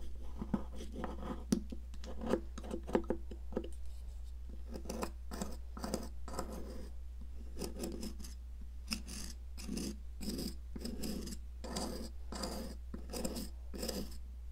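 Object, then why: Chalk block scraped with a metal knife. A metal palette knife repeatedly scrapes and cuts the crumbling end of a solid blue, popsicle-shaped sidewalk chalk block, which is held by a hand with long nails over a plastic mat. Short gritty scrapes and crunchy cuts come in quick bursts over a steady low hum.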